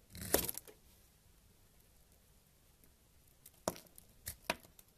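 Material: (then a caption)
Soap. A purple knife scrapes a solid tan bar of soap held in a hand with patterned nails, and crumbs fall away. A loud, bright, crumbly scrape opens the clip, then a quiet pause, followed by several short, sharp scraping clicks near the end.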